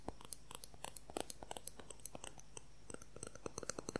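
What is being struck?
Plastic ruler.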